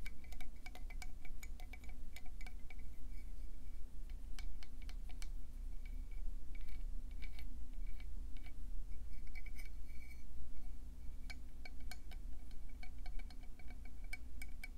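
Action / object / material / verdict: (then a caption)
tap / conch seashell / shell / none. Fast tapping on a conch seashell produces a dense stream of bright, glassy clicks with a short ring. The clicks repeat irregularly throughout over a steady low hum.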